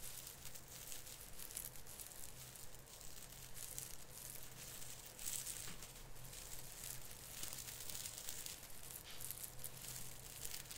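Both hands pinch and rub the branch tips of a plastic artificial Christmas tree, an artificial fir with plastic needles, making a continuous bright crinkling and crackling. The rustle swells and fades in uneven bursts over a steady low hum.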